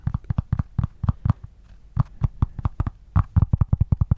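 A cork pencil holder is tapped and scratched with quick fingertip strikes, giving about 23 short, deep thuds centered around 100 Hz. There is a pause in the middle, then a faster run of taps. Each tap sounds bassy yet solid and clearly defined rather than an undefined rumble.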